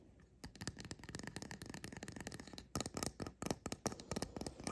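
Fingertips and nails tap and scratch the red-yellow caps of a small painted resin mushroom fairy house figurine standing on a counter. Quick, dry clicks and light scratchy rustles run in a steady flurry, growing louder and sharper toward the end.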